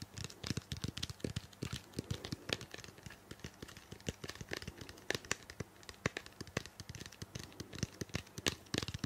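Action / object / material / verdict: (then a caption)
tap / plastic shampoo bottle / plastic / none. A small, hollow, purple-blue plastic shampoo bottle is held close to the microphone while long painted nails tap and scratch it rapidly. Dense, sharp, clicky taps with bright high edges mix with a scratchy rustle and a light hollow tone. Each tap stops almost instantly.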